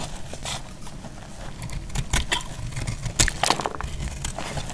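A hand-held solid bar of dried pink soap is cut with a box-cutter blade, and chunks break off. Crisp, crackly scraping runs throughout, with sharper bright snaps standing out toward the middle and end over a low, dull rumble.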